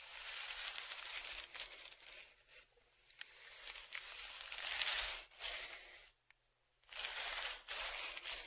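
A thin dark tool is scratched and dragged along the crinkled surface of a large, flat brown kraft paper padded mailer lying on a table and held down with one hand. The result is bright, hissy scratching and crinkling in uneven bursts, broken by short quiet pauses.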